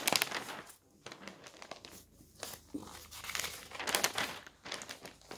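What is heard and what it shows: Bare hands smooth the thin pages of a large newsprint newspaper lying flat on a table with the palm and fingertips, then lift and flip a sheet. Soft, bright paper rustles and crinkles come in uneven bursts with short quiet gaps. Sharper crackling swells rise as the sheet is lifted and turned.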